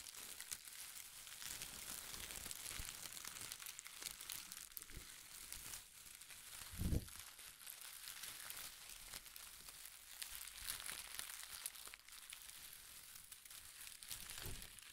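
A handful of light, loose, crinkle-cut pastel paper shreds is squeezed, crumpled and rustled in both hands. The result is a steady, soft, bright crinkling and crackling that runs throughout, with a brief louder, fuller crunch about midway and another near the end.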